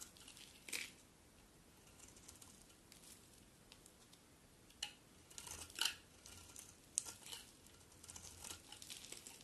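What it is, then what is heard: Bar of soap being shaved. A solid cream bar of soap, held in the hand, is shaved with a metal utility knife blade. Quiet, bright, crisp scraping and crinkling strokes come in short bursts, with a few sharper shaves standing out over a soft background hiss.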